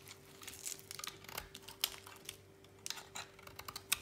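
A utility knife blade slices and scrapes a thinning slab of dry, solid white bar soap over a pile of shavings. The sound is quiet, bright and crisp, with dry crackling and crunching bursts and a few sharper snaps as the blade cuts through. A faint steady low hum runs underneath.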